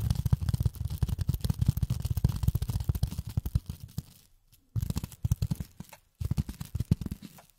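A flat, solid, hand-sized grey polyethylene foam sheet is held in both hands and tapped and scratched with long nails. It gives a rapid stream of soft, dull, low clicks and scrapes with no ring. The stream thins out, stops briefly, then returns in shorter bursts.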